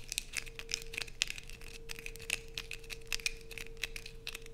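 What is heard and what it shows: Long nails scrape rapidly across a solid blue bar of soap held in the hands, sending shavings falling. The result is a quick series of dry, bright, crinkly scratches with sharp clicky peaks, over a faint steady low hum.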